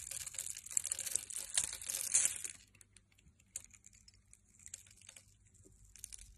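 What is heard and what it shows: A metal blade scrapes and cuts a solid red, translucent, scored glycerin soap bar held in hand, releasing clear crystal-like cubes. For about the first two and a half seconds there is a dense, bright, crisp crunching and tearing. It then gives way to sparse, quiet clicks and crackles.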